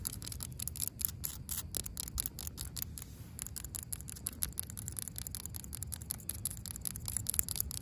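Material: Asphalt.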